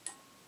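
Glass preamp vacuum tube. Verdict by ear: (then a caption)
Microphonic. A glass high-gain preamp vacuum tube (mu of 70) in a Willsenton R8 push-pull amplifier is tapped once, lightly, with a small light object. A single faint, high-pitched tick comes through the amp with a brief ring that fades quickly. The tube is slightly microphonic, which is expected for a high-gain tube and does not mean it is dead.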